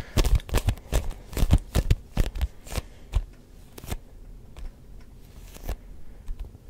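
Fingertips tap a neon yellow-green hollow rubber ball with a textured surface in quick, sticky taps. Dull, low thumps with a faint tacky click come in an uneven rhythm, dense in the first three seconds and then sparser and softer. Each tap dies away almost at once.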